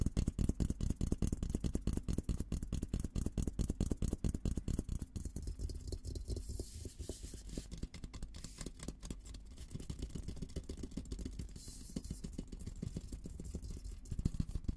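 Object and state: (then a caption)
Steel military helmet. Fingertips and nails tap and scratch the top of an olive-green painted steel combat helmet, a hollow dome held upside-up in both hands. A fast, uneven stream of short, dull taps carries a low, hollow thump with almost no ring, mixed with soft scratchy rustling across the shell.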